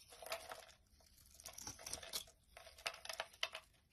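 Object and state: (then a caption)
Bar of soap being shaved with a blade. A utility knife blade shaves curls off a solid light green Palmolive soap bar held in the hand. Bright, dry scraping and crinkling strokes arrive in uneven bursts with brief quiet gaps between them. Each cut stops sharply with almost no ring.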